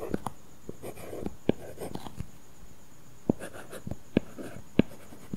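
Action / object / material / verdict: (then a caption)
scrape / stylus on glass tablet screen with matte plastic film / plastic film / none. A stylus writes letters on an iPad's flat glass screen covered with a matte, paper-feel plastic film. Soft, dry scratching strokes come at an irregular pace, punctuated by about 11 sharper taps and scrapes, all quiet and mostly low in tone with almost no ring.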